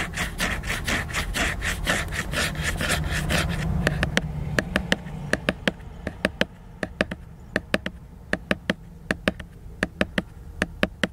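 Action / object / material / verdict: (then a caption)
scrape / hardcover book, glossy laminated cover / laminated board / none. Fingers and nails scratch and rub the glossy laminated cover of a solid hardcover book in quick, dense strokes. After about four seconds this gives way to a steady series of short, sharp, bright clicks on the cover, each decaying almost instantly.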